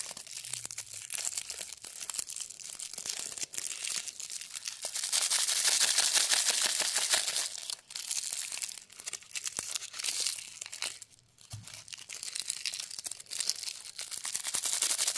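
Fingertips pull and twist the ends of a pink and white plastic twist wrapper on a single small, solid, unopened Alba chocolate wafer candy, held between both hands with other wrapped candies lying on artificial grass nearby. Dense, bright crinkling and crackling fills the clip, swelling louder in the middle and again near the end, with a short quieter gap before the final stretch.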